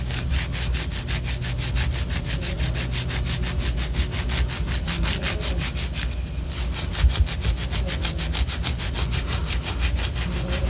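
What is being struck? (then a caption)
Wax pillar candle. Long orange acrylic nails scratch rapidly back and forth along the side of a large white solid wax pillar candle. The result is a steady, rhythmic, bright raspy scraping over a low, continuous rumble, with a brief pause near the middle.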